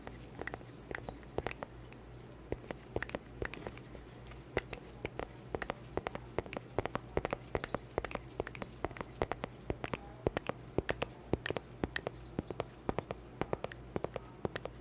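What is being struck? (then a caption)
Small round cork board tapped with plastic fingernails. A small, round, solid cork board held close to the mic is tapped and scratched with long black plastic claw fingertips. Rapid, irregular dry clicks and short taps die away almost instantly over a soft, scratchy rustle. A steady low hum runs underneath throughout.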